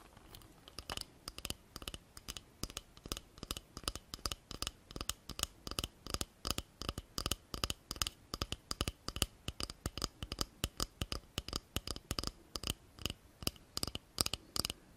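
A small, slim, hollow pink plastic cosmetic tube, likely a lip gloss, is held in both hands close to the microphone and scratched and tapped with long painted nails. It makes a rapid, steady stream of short, dry clicks and scratches with a bright, crisp edge and almost no ring.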